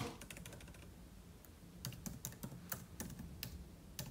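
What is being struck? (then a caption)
Laptop keyboard, plastic keys on aluminium body. Fingertips type and tap on the plastic keys of a silver aluminium laptop with a solid thin body, resting on a marble table. A quick flurry of soft clicks opens the clip, followed by a quieter stretch and then a run of separate, sharper key taps with bright clicky tops over a low, steady hum.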